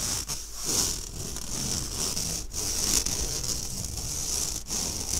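Fingernails scratch and drag across the mesh of an empty, round, fine-mesh stainless steel sieve held upright. The result is a continuous, bright, hissing rasp concentrated in the high range, with a faint low rumble beneath and a few brief dips as the strokes change.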